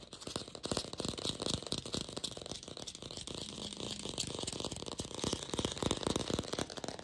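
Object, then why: Hollow plastic apple. A glossy red artificial apple, likely hollow plastic, is fast-tapped with long pink fingernails. The result is a dense, continuous stream of quick, bright clicks and rattling taps, each dying away almost instantly, with a light, hollow plasticky body.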